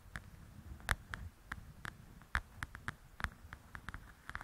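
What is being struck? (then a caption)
Paperback book with glossy card cover. Long nails tap and scratch the glossy cover of a large, flat paperback coloring book. Fourteen short, dry taps stand out, each a quick click with a soft low thump underneath. Between them runs a quiet, scratchy rustle, and the overall level stays low.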